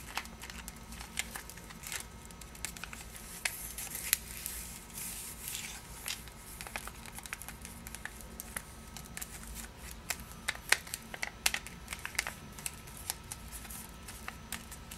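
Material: Cellophane.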